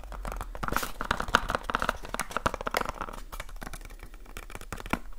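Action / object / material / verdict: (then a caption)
tap / small cardboard light bulb box / cardboard / none. A small rectangular cardboard light bulb box, likely still holding its contents, is held in both hands and tapped quickly with the fingertips and short nails. Rapid, dense papery taps and scratchy crinkles blur together, with a hollow tone around 1.4 kHz that fades almost instantly after each hit.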